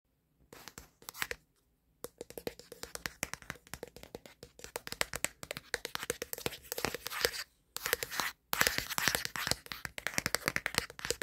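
Fingertips and short nails rapidly tap and scratch the plastic back panel near the camera bump of a black Samsung smartphone, which is held in one hand in front of a mirror and is also the device recording the sound. Dense, bright, hollow clicks and scrapes come in fast bursts, with brief silent pauses. Each hit is dry and short, with little low end.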